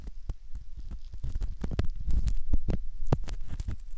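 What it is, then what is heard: Silicone ear model. A metal ear pick scratches and scrapes the surface of a soft silicone ear model, likely the ear of a binaural microphone, near the ear canal with frequent short strokes. The result is a dense, irregular run of muffled, low-pitched thuds and rubbing scrapes, with brief brighter clicks, at a fairly quiet, steady level.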